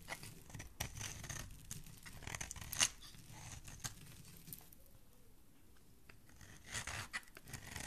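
A metal utility-knife blade carves and scrapes thin shavings off the edge of a solid, palm-sized green bar of soap held in the hand, and the shavings pile up. The sound is a quiet, bright, crisp scraping and shaving with several sharper cuts standing out. It fades to a softer scrape midway before picking up again.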